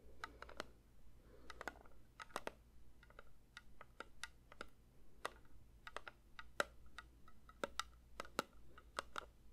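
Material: Metal.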